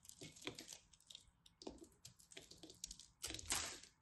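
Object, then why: Pressed soap-flake ball. A solid white, green and orange pressed soap-flake ball, held in the hand, is carved with a craft knife until it crumbles. Dry, crisp scraping and crackling bursts fill the clip with a bright, high hiss, ending in a louder crunchy rush as the ball breaks apart.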